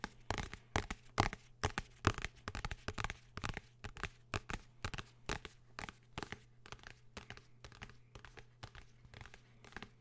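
Fingertips and nails tap and scratch the cover of a blue hardcover notebook held close to the microphone. The result is a quick, uneven run of short, crisp, papery taps and scrapes over a faint steady low hum.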